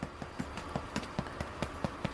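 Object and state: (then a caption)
Hollow-sounding baked sourdough baguette. Nine quick, soft, hollow taps in steady rhythm on the bottoms of freshly baked sourdough baguettes made with fresh-milled flour. Each tap is a short, dull knock that fades almost at once, with a hollow sound showing the loaves are done.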